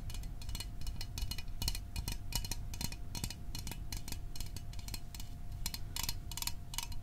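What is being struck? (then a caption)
Small metal soda can. A small, hollow, sealed metal Fanta orange soda can, fill level unknown, held in both hands, is tapped quickly and repeatedly with fingertips and fingernails. The taps sound as short, bright, clicky metallic ticks that die away almost at once, over a steady low rumble and a faint constant tone.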